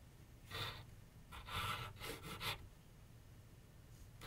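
A graphite pencil is drawn and scratched in short strokes across a medium white canvas/paper board on a wooden easel. It makes soft, breathy, broadband scraping bursts with a bright hiss peaking near 3.5 kHz and a faint low rumble beneath. Quiet pauses separate the strokes.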